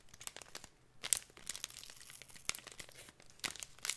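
Fingertips and nails crinkle and scratch the film of a clear plastic packet of glitter held in the hands. Bright, dry crackles and scratchy rustles come in quick bursts, with louder crinkles near the start, middle and end. There is almost no low end and no lingering ring.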